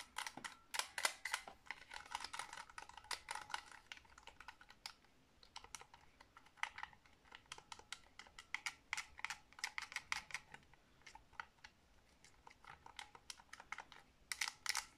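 A white Nyko game controller of hollow hard plastic with round buttons, held in both hands, is tapped rapidly with long blue nails. Dozens of crisp, bright plastic clicks come in quick, uneven bursts, each dying away almost at once. The taps pause briefly in places.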